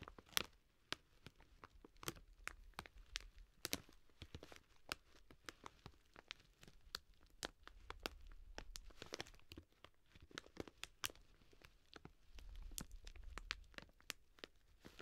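A full 2 kg plastic bag of dry green lentils stands upright, held in both hands, while long nails tap and scratch across its plastic front. The result is a steady run of short, sharp, bright crinkly clicks over soft scratchy rustling, with low rumbly stretches in between.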